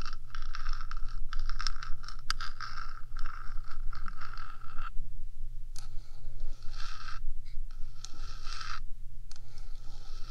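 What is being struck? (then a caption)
Metal microphone housing. Long fingernails scratch and scrape across the top of a 3Dio microphone's metal housing, producing a dense, gritty scratching with a bright edge over a steady low hum. The scraping runs in bursts with brief pauses, staying close and dry with almost no ring.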